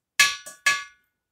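A metal two-stroke motorcycle exhaust pipe that has just been decarbonized is tapped three times, giving bright, clean metallic rings around 1.7 kHz that each fade within a fraction of a second. The clear ring shows the carbon deposits inside have been removed.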